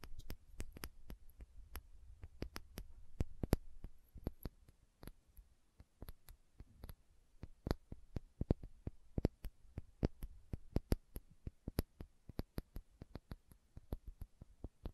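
Long nails tap and scratch the label and glass body of a small, filled glass condiment bottle with a red plastic cap, held sideways. Quick, dry clicks and taps come in irregular bursts, with soft scratching between them over a low, steady hum. The clicks stop instantly, with no ring.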